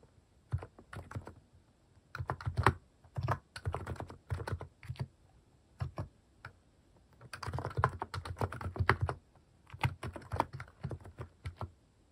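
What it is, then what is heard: Plastic mechanical keyboard. Fingertips type on a plastic mechanical keyboard fitted with cat-shaped plastic keycaps. Quick bursts of key presses alternate with brief pauses, each press a short, dry clack with a deep, full low end and almost no ring after it.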